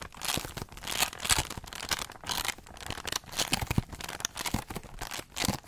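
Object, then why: Foil-covered cardboard heart-shaped box base. Pink nails scratch rapidly across the hollow base of a holographic foil-covered cardboard heart box. Bursts of bright, crinkly scraping come in quick, uneven waves. The hits are dry with no ringing.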